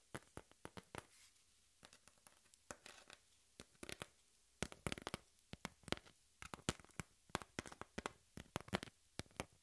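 Long pink nails scratch and tap a thin, flat, hand-sized piece of brown cardboard. Dozens of quick, dry scratches and sharp taps come in irregular bursts over a quiet background. Each stroke is a short, bright, crackly burst that stops almost instantly, and the bursts grow louder and denser in the second half.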